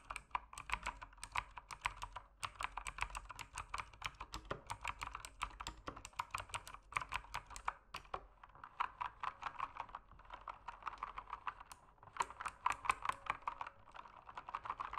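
Fingertips type continuously on a backlit mechanical keyboard with plastic keycaps. Fast, crisp clacks arrive in steady bursts, each very short and dry, with a midrange body around 1 kHz and bright tops. Brief pauses fall near 2.3 and 12 seconds before the rhythm resumes.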